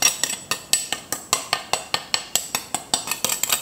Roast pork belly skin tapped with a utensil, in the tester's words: just marvel at how nicely blistered the skin is as well as how crispy it sounds